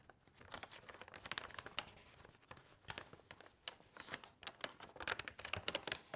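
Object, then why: Stack of glossy magazine paper pages. A thick stack of loose, slightly water-damaged glossy magazine recipe pages lies on a table while fingertips with long nails lift, rub and turn the thin sheets one after another. Bright, dense crinkles and rustles come in quick, uneven bursts with no low end and no ring, at a quiet level.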